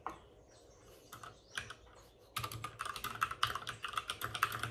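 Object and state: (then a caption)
Plastic mechanical keyboard. Both hands with short-nailed fingertips tap on the plastic keycaps of a white full-size plastic mechanical keyboard with RGB backlighting, resting on a desk with a padded wrist rest. A few sparse, soft taps give way after about two seconds to steady, faster typing of crisp, bright clicks with a short, dry decay.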